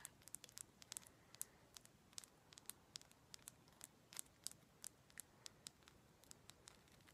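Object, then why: Raw rose quartz chunk. Long black acrylic nails tap rapidly and irregularly on a solid, palm-sized chunk of raw rose quartz. About 34 sharp, bright clicks sound with almost no ring, each fading at once over a quiet, faint hiss.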